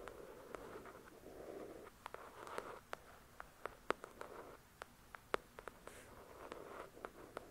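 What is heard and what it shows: Long acrylic nails tap and scratch the glossy card cover of a thick paperback novel. Soft, papery scratching strokes come and go in the low-mid range while sharp, bright clicks land at irregular intervals and die away instantly. The whole clip stays quiet and close.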